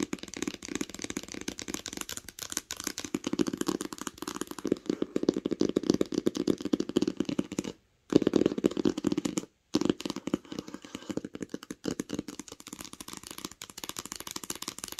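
Long pink nails tap rapidly on the cover of a green cloth-covered hardcover book lying flat. The result is a dense stream of short, dry clicks with a mid-range body around 300 Hz, broken by two brief pauses around 8 and 9.6 seconds.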